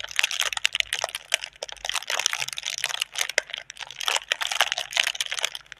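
Long red nails tap and scratch the taut film of a clear, inflated, hollow plastic air-cushion packaging tube with green print, held in both hands. A dense stream of sharp, bright crinkles and clicks is heard, with quick taps that stop instantly and no low end.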